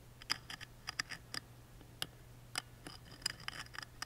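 A wooden toothpick scratches and traces the engraving on the small engraved wooden lid of a music box. It makes quiet, irregular, bright scratchy ticks and short rasps with no ring, over a faint steady low hum.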